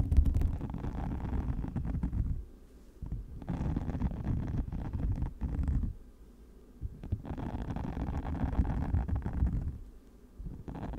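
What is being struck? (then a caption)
Spiky silicone microphone cover. Long matte nails scratch across a hand-sized orange silicone cover with many small flexible spikes, fitted over a microphone. The result is a deep, muffled, rumbling scratching, almost all low-end with no bright content. It comes in long dense bursts separated by brief quiet pauses.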